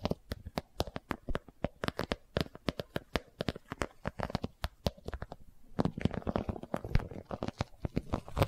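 Long nails tap and scratch a boxy, iridescent holographic vinyl zippered cosmetic pouch as it is turned in the hands. A quick run of short, dry, hollow taps with a low thump fills the first five seconds. The sound then shifts into a denser, rustling scratch with taps mixed in, all fairly quiet.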